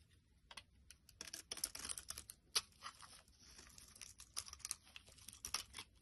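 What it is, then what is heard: Soap bar being carved. A solid white soap bar, held in the hand, is carved and scraped with a blade, peeling off thin shavings. The sound is a quiet run of crisp, bright scraping and crackling bursts, with short sharp ticks scattered between longer rasping strokes and almost no low end.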